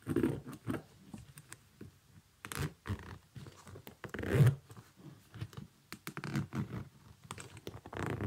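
Fingers work the side zipper of a small synthetic leather kids' boot while nails scratch its upper. The result is a quiet, irregular series of short, soft scratching and rasping bursts, heavy in low tones with little high-end sparkle.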